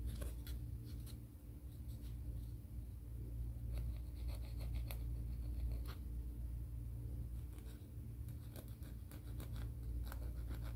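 Fingernails are filed and scratched along the surface of a grey, gritty emery board nail file held in the hands. Short, irregular rasping strokes with bright, scratchy edges repeat quickly over a steady low hum.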